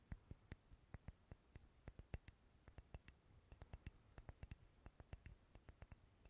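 Long fingernails tap and scratch along the side of a solid purple wax pillar candle, making a quiet, irregular run of about 32 quick, dry taps. Each tap is a sharp click with a dull low thump and almost no ring, and soft scratching fills the gaps between them.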